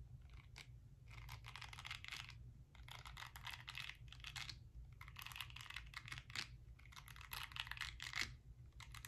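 Long nails scratch and tap across the nubby bristles of a small, round, palm-sized pink silicone face-cleansing brush held close to the microphone. Bursts of crisp, bright scratching come in clusters separated by short pauses, over a steady low hum.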